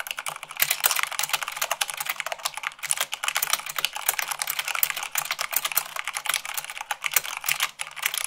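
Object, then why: Plastic mechanical keyboard. Fast fingertip and long-nail typing on a black plastic mechanical keyboard with white plastic keycaps, at about 98 words per minute. The result is a dense, steady stream of bright, sharp clicks and clacks with almost no low end and very short decay.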